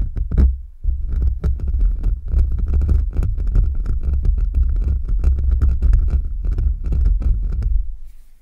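Fingertips and short nails scratch and rub fast with both hands over the bare, hollow metal mesh grille of a large USB microphone, the hands mostly covering it. It comes through as a dense, deep, booming rumble of rapid thumps and rubs with faint bright scratchy crackle on top, pausing briefly near the start and fading out at the end.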